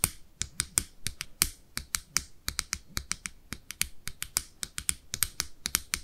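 Long nails tap and scratch the clear plastic lid of a small, round, red blush compact with a hollow case, held in both hands. About thirty quick, bright, clicky taps follow one another at an uneven pace, each dying away almost instantly, with a faint scratchy texture between them.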